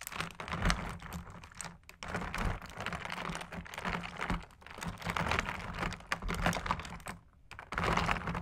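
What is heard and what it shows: Two metal sticks repeatedly tap and jab ice cubes floating in carbonated Sprite in a clear plastic tub. The result is a dense run of quick, clicky knocks and clinks with bright crackle over a low rumble. There are brief quiet gaps near 2 and 7.3 seconds.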